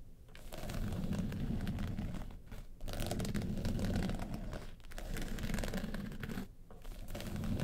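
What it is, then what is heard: Faux-leather makeup case scratched. Long pointed nails scratch across the lid of a small, hollow hard makeup case covered in woven-texture yellow faux leather. The scratching is a dense, low, rumbling rasp that runs in steady strokes, with brief dips in a few places.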